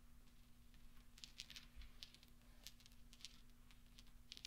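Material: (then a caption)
Steel. Fingertips and long nails push and roll small solid steel pachinko balls across velvet so they clink together. Quiet, bright little clicks and clinks scatter irregularly over a soft rustle, with a steady low hum underneath. Each tap dies away almost instantly.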